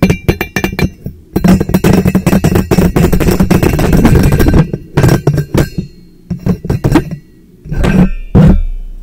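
A teal powder-coated stainless steel insulated tumbler, hollow and empty, sits upside down over the microphone and is tapped with fingertips and nails on both sides. Quick, irregular bursts of hollow knocks and bright clinks blend into a dense, booming low resonance, with short pauses between flurries.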